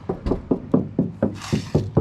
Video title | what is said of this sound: New Toy! 69 Ford Torino 390 GT Fastback | It sounds solid. It is.